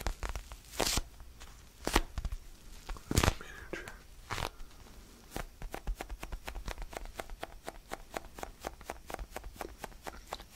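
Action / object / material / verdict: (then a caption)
tap / foam stress ball / foam / none. A small, palm-sized, solid orange basketball-style foam stress ball is held in both hands while fingertips tap and scratch its textured surface. It opens with a few louder, bright scratching bursts and scattered taps, then settles into a steady run of quick, dry, soft taps over a low, quiet hum.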